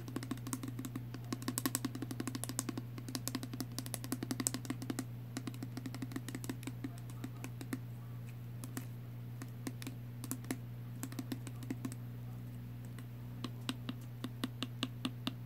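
Fingernails tap rapidly on a small pink plastic Body Fantasies perfume spray bottle with liquid inside, striking both its body and its clear plastic cap. The taps are quick, dry, bright clicks that die away almost instantly, coming in irregular bursts over a steady low hum.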